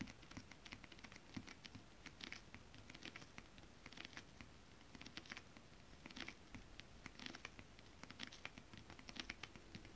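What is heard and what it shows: Both hands tap long acrylic nail tips on flat holographic mermaid scale-print fabric. Quick, light, bright clicks come in irregular flurries over a soft, steady scratchy rustle and a low rumble. Each tap dies away almost at once, and the whole clip stays quiet.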